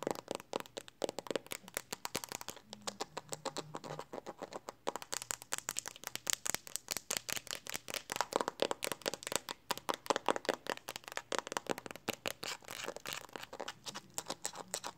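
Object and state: Smartphone case tapped with fingernails.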